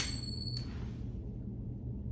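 A silver coin is flicked and gives off a high, clear ring with bright tones that fade within about three-quarters of a second. A second faint tap follows, over a steady low hum that lasts the whole clip.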